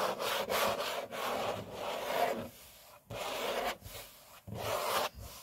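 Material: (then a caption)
Laminate. Fingertips and short nails rub and scratch back and forth across a large, flat, solid grey laminate tabletop, likely laminate over a wooden or particleboard core. Dry, broadband scratchy strokes with a mid-range emphasis come in long sweeps, broken by a few short quiet gaps before rubbing resumes.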